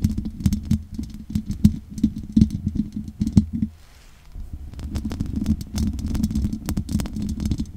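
Long nails scratch and tap the hollow metal mesh grille of a large condenser microphone. The result is a dense, low, rumbling scrape peppered with quick clicks and a steady hollow tone around 210 Hz. The sound drops out briefly near the middle, then resumes.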